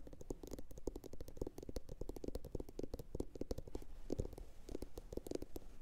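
A medium, hollow, empty blue glossy bowl, likely ceramic, sits upside down and is tapped with long pointed acrylic nails from both hands. The result is a rapid, steady patter of short, dry clicks over a hollow, muffled low body that stops almost instantly after each tap.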